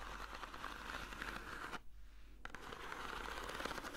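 Long nails scratch the surface of a long, textured, hollow corrugated cardboard box held in both hands, making a steady, dry, rasping scrape centered in the midrange around 1.4 kHz. The scratching stops briefly just before the two-second mark and then resumes at the same level.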